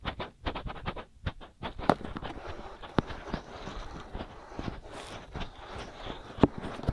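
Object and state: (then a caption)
Silicone microphone ears being scratched. Fingers with short nails scratch quickly across both white soft-rubber silicone ears of a binaural microphone. The result is rapid bursts of dull, close scratching that start out choppy and blend into a steadier rustle, heavy in the lows. A few sharper, louder scrapes stand out near the two-, three- and six-and-a-half-second marks.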